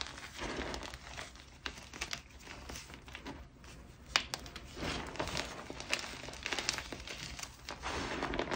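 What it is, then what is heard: Gym chalk chunks being crushed. Bare fingertips with red-painted nails squeeze and rub a pile of white, powdery gym chalk chunks (magnesium carbonate) on a grey surface, crushing the solid, crumbly pieces into powder. The result is a close, dry stream of bright crackling crunches and soft crumbling rustle, with sharper snaps as harder bits break.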